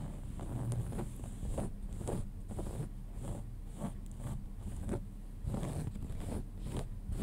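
Fingertips and nails scratch the fabric around the back pocket of pale cotton denim jeans lying flat. It makes a steady run of soft, rough scratching strokes with a dense, low, rumbly texture and a faint high hiss above it.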